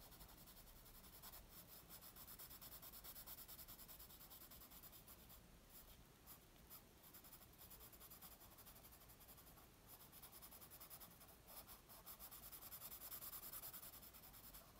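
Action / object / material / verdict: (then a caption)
scrape / graphite pencil on a paper sheet / paper / none. A graphite pencil makes rapid, repeated shading scratches on a flat white sheet of paper resting on a wooden table. The result is a quiet, continuous, bright scratchy hiss that swells and dips with the strokes.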